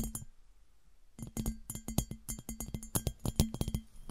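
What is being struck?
Glass piggy bank.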